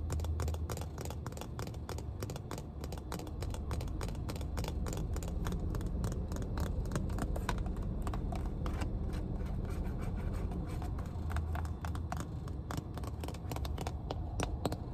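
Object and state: Plastic water bottle tapped with nails.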